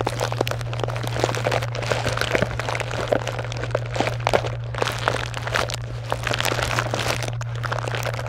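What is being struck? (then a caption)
Pile of plastic and foil wrapped candy bars. Long acrylic nails scratch and rummage through a white box full of small wrapped chocolate bars (Butterfinger, Twix, Kit Kat, Snickers) in crinkly plastic and foil wrappers. The result is a continuous stream of bright, sharp crinkles and crackles. A steady low hum runs underneath throughout.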